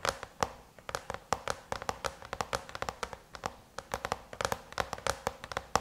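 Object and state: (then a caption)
Aluminum laptop lid tapped with fingernails. Long chrome-painted nails rapidly tap on the closed silver aluminum lid of a MacBook, producing about 35 quick, sharp clicks with a bright metallic tick. Each tap dies away almost instantly, with a faint tonal ring around 790 Hz and little low end.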